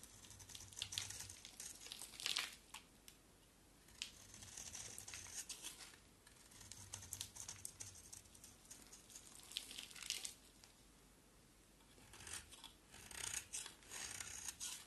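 A hand-sized solid oval soap bar with a black-and-yellow painted coat and white interior is held in one hand and shaved with the blade of an orange box cutter in a scraping, carving action. Bursts of crisp, bright scraping and crinkly shaving sounds come in waves, separated by brief quiet pauses.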